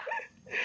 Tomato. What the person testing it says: మొత్తం స్టోన్ కూడా గట్టిగా ఉన్నాయి ఇవి